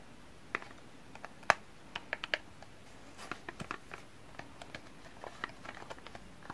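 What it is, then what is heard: Cardboard soap box. Fingertips tap and handle a small, closed, printed cardboard box holding a bar of soap, held in both hands. Irregular dry taps and light scratches sound against a quiet background, with a few louder, sharper knocks early on and softer, scattered clicks later. Each hit is brief, with bright, papery tones.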